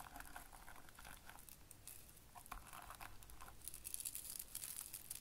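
Fingertips of both hands press and rub a ring of small, hollow, spiky yellow soft-plastic Bunchems burr balls into a grey felt-like board. The result is quiet, continuous velcro-like crackling and crunching, with dense bright crinkles and brief sharper crackles throughout.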